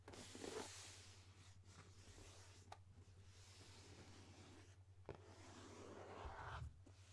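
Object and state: Cardboard gift box.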